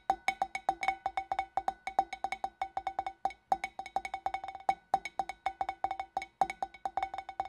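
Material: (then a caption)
Glass. Long nails tap the neck and rim of a large, empty, hollow clear glass fish bowl, then reach into its opening. The result is a fast, uneven run of short, dry clicks, each carrying a brief glassy ring near 770 Hz with bright overtones above.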